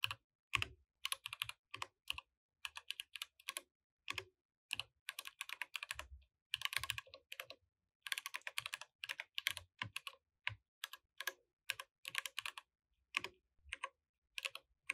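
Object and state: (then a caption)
Mechanical keyboard with plastic keycaps. Both hands type with their fingertips on a compact mechanical keyboard with plastic keycaps. Bright, sharp clacks come in quick bursts separated by short pauses, each keystroke dying away almost instantly with very little low end.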